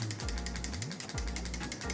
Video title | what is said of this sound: Navratri Day 9 Pink Saree Makeup Look - Soft Shimmery Eyes - Sejal | So before applying the lipstick, you need to shake. You can hear a sound.